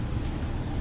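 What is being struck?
Nothing is struck.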